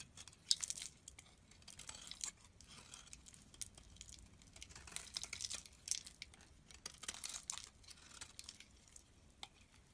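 A solid green soap bar stamped EXXE, held in the hand, is shaved with a snap-off utility knife blade as green curls flake off. Quiet, bright scraping and crisp crackling come in uneven bursts across the clip, with little low end.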